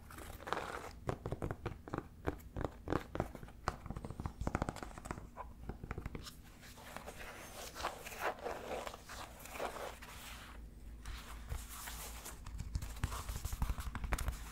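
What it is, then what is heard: Suede sneaker with rubber sole. Fingernails scratch and tap the ridged rubber sole and the suede upper of a single empty black suede sneaker with a tan and white rubber sole, held in the hand. Quick, dry taps and crinkly scratching run in dense bursts over a steady low hum, with each tap dying away almost instantly.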